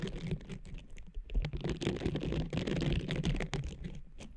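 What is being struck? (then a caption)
Textured silicone pad. Long nails rapidly scratch and tap the nubbed surface of a small blue textured silicone cleansing pad draped over a microphone. The result is a dense, irregular patter of dry, close-up scratches and taps with a heavy low thump and very short decay.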